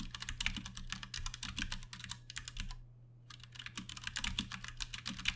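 Fingertips of both hands type fast on a Ducky One 2 Mini, a compact 60% RGB-backlit mechanical keyboard with plastic keycaps and Cherry MX Brown switches, resting on a desk. A dense run of short, bright clacks lasts the whole clip, broken by a brief pause just before the three-second mark. A steady low hum sits underneath.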